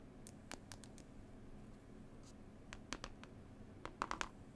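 Long nails tap and scratch a textured, cloth-covered CD case with a picture panel, giving short, dry, bright ticks with almost no ring over a faint low hum. The taps come scattered at first, then bunch into a quick, louder cluster near the end, with soft scratchy rustles in between.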